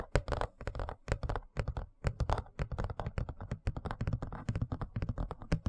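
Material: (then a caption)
Plastic. A large, thin, rigid white plastic serving tray is held upright in front of the mic and tapped and scratched with fingertips and nails. A quick, steady stream of dull, bassy taps mixes with light scratching in irregular bursts, each hit dying out almost instantly with no ring.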